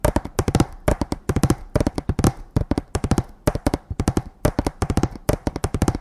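A hanging sign made of a row of thin painted wooden slats tied together is held in both hands and tapped with the fingertips and nails. About 37 quick, dry taps come in rapid clustered bursts, each with a hollow, low-heavy knock centered near 312 Hz, a brief clicky edge, and almost no ring.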